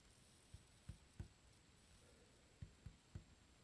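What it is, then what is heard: Wooden tabletop. Fingertips tap and drum on a solid, dark varnished wood tabletop, giving six soft, dull, low thuds that die away almost instantly. The taps come in two groups of three, separated by a pause of over a second, while a faint steady high-pitched hiss runs underneath.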